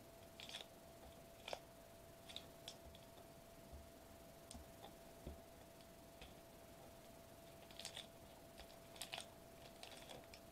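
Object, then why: Metallized plastic bubble wrap sheet. Fingertips tap and drum on a flat silver metallized plastic foil bubble wrap sheet lying on a white table. Soft, scattered taps give short, crisp clicks with bright crackly edges, each dying away almost instantly over a quiet background. A faint, steady mid-pitched tone hums underneath throughout.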